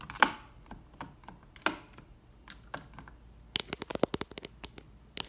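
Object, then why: Plastic light switch plate with toggles. Long red nails tap and flick the toggles of a beige plastic triple toggle switch plate mounted on a textured wall. A few sparse, sharp plastic clicks with quick bright edges give way to a rapid, dense run of dry taps and flicks near the end. Each click dies away almost instantly with no ring.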